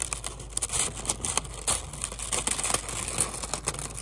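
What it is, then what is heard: Kraft paper honeycomb wrap. Brown kraft paper honeycomb packing wrap is held in both hands, pulled apart and crinkled with the fingers, and possibly torn into two pieces. A dense, bright crackle of papery crinkles and tearing sounds continues throughout, with sharper snaps standing out over a faint steady low hum.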